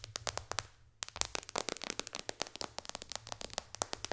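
Long dark fingernails tap rapidly on the glass touchscreen of a white-bezel iPad lying flat. The sharp, bright clicks come in quick bursts, about 29 in all, each dying almost at once. A brief lull near the one-second mark interrupts the tapping over a faint low hum.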